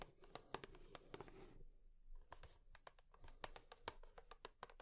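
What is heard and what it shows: Long nails tap on a cardboard tissue box in a quick, uneven series of dry, clicky taps that stop almost instantly. A soft low hum sits underneath, with a brief quieter gap partway through before the tapping picks up again.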